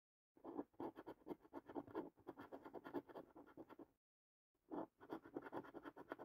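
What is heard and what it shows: A coin scratches the remaining latex-coated panels off a thin cardboard paper scratch card, making rapid, dry rasping strokes with midrange grit. Quiet bursts of scraping run in quick succession, stop briefly for about half a second, then resume.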